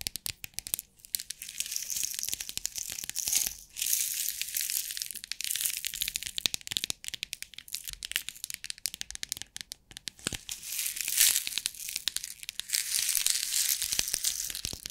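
Long nails tap and scratch a clear plastic box with rhinestone compartments, and the box is shaken close to the microphones. A dense, fast stream of bright, crisp clicks and rattling scratches fills the clip, with almost no low end. The sound rises and falls in short bursts throughout.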